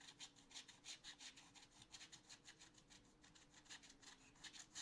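A wooden stylus scratches a black-coated scratch art paper sheet in a spiral notebook with repeated back-and-forth strokes. About 24 quiet, bright, dry rasping scrapes come at a loose rhythm of roughly three per second, each ending almost instantly. A faint, steady low tone runs underneath.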